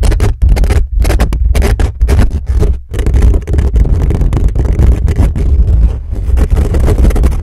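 Fingertips and nails scratch fast across the hollow metal mesh grille of a black condenser microphone, working close up at the top. The result is a loud, dense, continuous scratching with a heavy low rumble, broken by brief dips, and bursts of brighter rasp over it.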